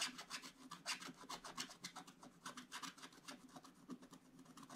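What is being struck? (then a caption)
Wax-coated scratch-art paper scraped with a wooden stylus. A wooden stylus scratches the black coating off a scratch-art paper page in an open book. Quiet, bright, dry rasping strokes follow one another in a loose, uneven rhythm, each dying away almost at once with no ring.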